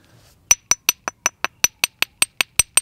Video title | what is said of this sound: Arrow shaft straightener (Part 2 of 3) | you can really hear that it sounds like glass